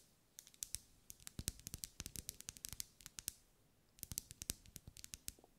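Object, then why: Wax pillar candle. Long acrylic nails tap and scratch along the ribs of a lit pink ribbed solid wax pillar candle. The result is a quiet, rapid series of crisp, bright clicks with faint low thuds beneath them, each dying away almost instantly. The tapping pauses briefly just after the midpoint, then resumes.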